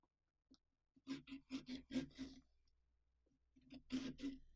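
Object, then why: Carved pumpkin rind. A small orange-handled carving saw is worked back and forth through the rind of a large, hollow carved pumpkin along the mouth outline, while the other hand steadies it. A quick run of rasping, scratchy saw strokes with a low, woody tone is followed by a brief lull and then a second burst of strokes.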